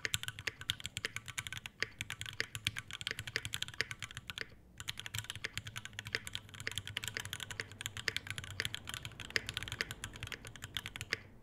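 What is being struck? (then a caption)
Mechanical keyboard with plastic keycaps, brass plate and metal case. Fingertips type steadily on an Iron180 tenkeyless mechanical keyboard with a brass bottom, Alpaca V2 switches, a brass plate, white ABS keycaps and a dark metal case, with one hand only by the end. Quick, bright, sharply clacking keystrokes with a low thocky body follow one another rapidly, each dying almost instantly, with brief pauses near two and five seconds.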